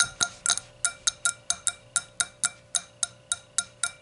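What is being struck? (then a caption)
Thin glass hurricane glass. Long nails tap the thin walls of the curved hollow bowl of an empty clear hurricane glass standing upside down on a towel. Fifteen quick, bright clinks land at an uneven pace, each with a clear ringing tone near 1.4 kHz and high overtones. Each clink fades fast.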